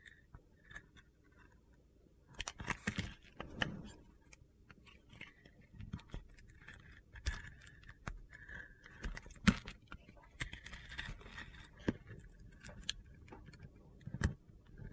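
A utility-knife blade scrapes and carves a hand-sized solid bar of soap with a black glitter coating and a white interior. Quiet, dry gritty scrapes and crunchy ticks come in uneven bursts, with a few sharper clicks standing out, over a low, soft background.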